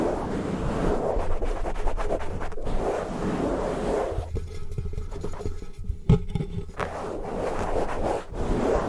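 Fingertips and nails of both hands scratch and rub fast over a medium-sized, soft, porous black foam windscreen covering a microphone capsule. The result is a dense, continuous crackling rustle with a heavy low rumble. It eases into a thinner, quieter stretch midway, marked by a sharp pop, before the full rubbing returns.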